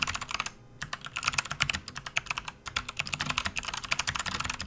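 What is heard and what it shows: Both hands type continuously with their fingertips on a full-size RGB-backlit plastic membrane gaming keyboard resting on a desk mat. The key presses make quick, bright, dry taps that stop almost at once, centred around 2.2 kHz with little low end. A short pause comes near the start and a brief lull before the typing carries on steadily.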